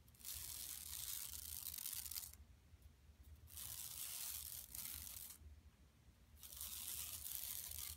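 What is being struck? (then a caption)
Woven plastic mesh shopping bag. Long nails scratch the woven plastic mesh of a flat, empty yellow tote shopping bag lying on carpet, over its bison print. Three long bursts of bright, hissy scratching are separated by short quieter pauses, with a faint low hum underneath throughout.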